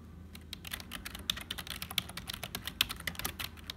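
Fingertips of both hands type quickly on a black, full-size HP plastic membrane keyboard with hollow keys. A fast, uneven stream of short, bright, hollow clicks and taps dies away almost instantly, with a faint low hum underneath.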